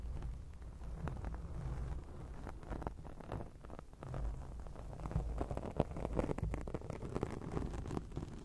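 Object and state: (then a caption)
Foam microphone windscreen being scratched. Long acrylic nails quickly scratch a round grey foam windscreen on a microphone. The result is a dense, continuous rustling and scratching with a heavy, muffled low rumble and many quick crackling strokes. The sound carries little bright content and rises somewhat louder in the second half.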